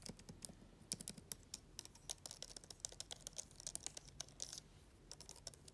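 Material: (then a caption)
Plastic. Long nails and fingertips type and tap on the black plastic keys of a laptop keyboard. About thirty quick, dry clicks come in an uneven run, each bright and clacky with almost no ring, over a faint low rumble.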